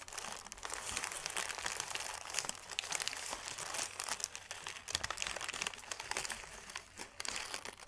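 A crumpled sheet of thin white paper is held in both hands and crinkled with the fingers. It makes a steady, dense run of bright, crisp crackles and crunches that keep going for the whole clip, over a faint low hum.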